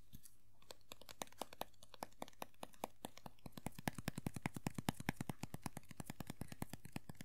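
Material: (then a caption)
Vinyl. Fingernails tap and scratch the ridged green vinyl hair of a small hollow vinyl Funko POP figure lying on its side. It makes a rapid run of short, dry clicks over a faint low hum, starting sparse and quiet, then growing denser and louder toward the middle before easing slightly.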